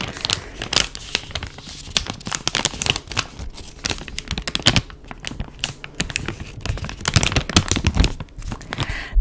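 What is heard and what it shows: Fingertips and nails crinkle and tap a soft, flexible, hand-sized plastic pouch of Neutrogena makeup remover wipes, filled with wipes and held in both hands. Dense bright crackling and crinkling come in quick irregular bursts with sharp taps and a soft low thump underneath, close and dry throughout.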